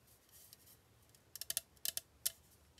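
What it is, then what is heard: Aluminium drink can tapped with fingernails. Long painted fingernails tap and scratch the printed aluminum sides and lid of a small, hollow, sealed Lady Boba bubble tea can held in hand, likely full and unopened. Soft, bright scratching gives way to six sharp, high clicks with almost no ring.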